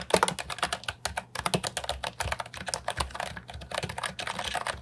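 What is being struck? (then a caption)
Plastic keyboard keys. Fingertips type steadily on a compact, hollow plastic Ajazz 308I keyboard with round, typewriter-style retro keycaps. A quick run of sharp, bright clacks follows, each keystroke dying away almost instantly with no ring.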